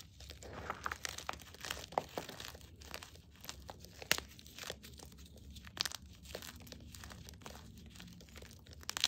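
Fingers crush crumbly fragments of plain white and green gym chalk in a bowl, then drop the powder back into it. The result is quiet, continuous crunching and crinkling, with bright, brittle crackles, a few sharper snaps, and soft sifting in between.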